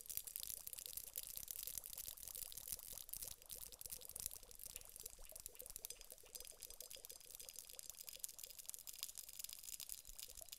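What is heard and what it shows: A glass hourglass filled with water gel beads is tilted, then tapped end-on with long nails on its round bulb while the beads shift inside. Quick, bright, ticking taps blend into a soft, pouring patter of sliding beads, with a faint resonant tone near 500 Hz. The sound stays quiet and steady throughout.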